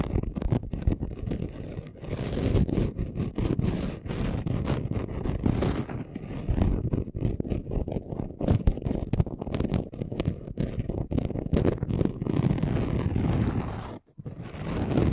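A flat chunky gold glitter craft sheet is scratched fast with short nails and fingertips, giving a dense, continuous run of rough, grainy scrapes weighted toward low frequencies. The scratching continues almost without pause, with a brief drop just after 14 seconds before it resumes.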